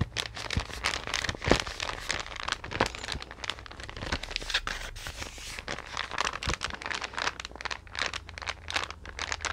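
A green, card-covered paper sketch pad is held in both hands and bent and flexed while long nails scratch and rub its glossy cover. The result is a steady stream of dense, bright crinkling and scratching with brief sharper crackles throughout.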